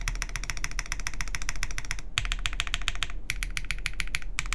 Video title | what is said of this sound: QK Neo65 Cu Build Stream | this sounds solid I mean like it doesn't really sound Hollow it's completely foamless